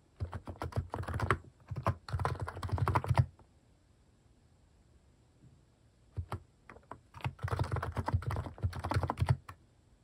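Fingertips type on a white-case mechanical keyboard with pastel plastic cat-shaped keycaps. Rapid bursts of deep, thocky clicks fill the first three seconds, followed by a quiet pause, a few scattered taps, and another long run of steady typing.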